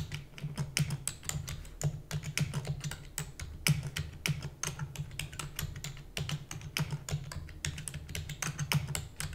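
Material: Plastic.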